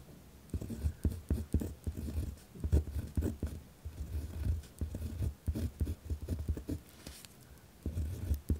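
A pen tip scratches across a white lined paper pad resting on a wooden desk while writing. The result is a rough, irregular run of short, dull scratching strokes, mostly low and thumpy with little brightness, each stopping almost at once, with brief pauses between bursts of writing.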